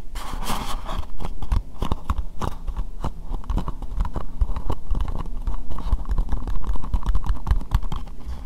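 Long nails tap and scratch rapidly on an empty, hollow, translucent pink plastic bowl. The result is a dense stream of short, dry clicks and scraping with a dull, low, hollow body and almost no ring.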